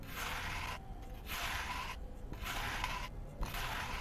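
A metal knife blade held in the hand shaves and scrapes the surface off a round, solid, dry cement disc painted with a yellow emoji face, lying in a bowl of cement dust. Broad, gritty scraping strokes come in bursts separated by brief quieter gaps, with a bright, hissy texture. Powdery crumbs fall away as the surface layer comes off.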